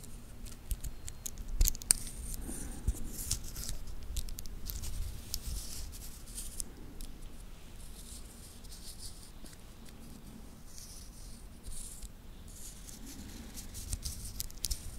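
A linked titanium watch band is held between the fingertips, and its links are folded and rubbed together. This gives quiet, bright metallic clicks and scraping over a low rumble. There are a few sharper clicks near the start.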